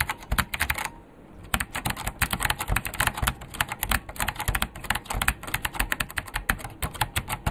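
Fingertips type with both hands on a vintage beige plastic KPT-102 full-size mechanical keyboard with Alps switches and a hollow case. A fast stream of bright, clacky keystrokes with a hollow low thump carries on steadily, pausing briefly near the one-second mark before resuming.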